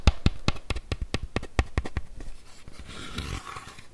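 Fingertips and nails tap and scratch a hollow, green hard-shell plastic bike helmet with vents. A quick run of short, dull, low taps with bright clicky edges is followed by a softer, hissing scratch across the shell.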